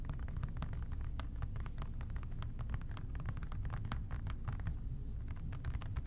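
A hollow plastic OxiClean spray bottle with a white trigger top, held in both hands, is tapped and scratched with the fingertips. Quick, soft ticking taps and light scratches blur into a steady stream over a dull, low rumble.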